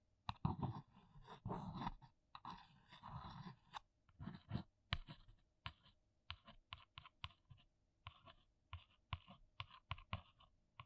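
A long nail scratches and taps the printed top of a flat, hollow, brown printed cardboard box. The first few seconds bring rough, scratchy strokes in bursts, then a run of short, crisp taps with a hollow low thud and a bright papery click. Each tap dies away almost at once, and the whole clip stays quiet.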